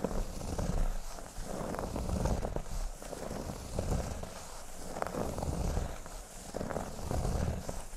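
Fingertips and short nails scratch slowly along the upper surface of a large, flat, solid cork board shaped like a speech bubble. The result is a continuous low, rumbling, purr-like scraping with soft crackling texture that swells and eases in uneven waves.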